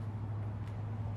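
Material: Nothing is struck.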